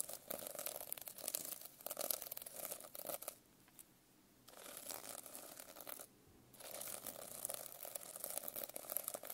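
A metal pen tip rapidly scratches across the plastic sequins on a notebook cover, producing a dense, bright, crackling scratch with a band around 500 Hz. The scratching comes in three bursts separated by two short near-silent pauses around 3.5 and 6 seconds.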